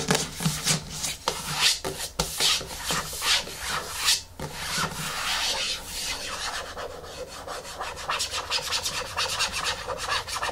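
Fingertips and long nails rub and scratch the top and sides of a medium yellow plastic hair-mask jar with a screw lid resting on a wooden table. Bright, raspy scratching strokes swell and fade in uneven bursts, then settle into a steadier, finer scratching texture toward the end.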